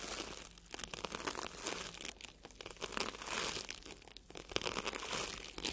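A small wire-handled bristle tube brush brushes and scratches a solid, soft, red and yellow porous foam sponge. The result is a steady stream of dry, bright, crinkly scratching and rubbing, with quick strokes that swell and fade and almost no low end.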